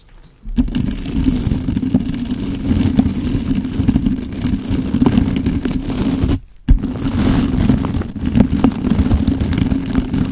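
A blue-and-white plastic scrub brush with stiff bristles is rubbed and scratched over a black foam windscreen on a handheld microphone. It makes a loud, dense, low scratchy rumble that starts after a short quiet moment and runs continuously, with a brief break around the middle before the scrubbing resumes.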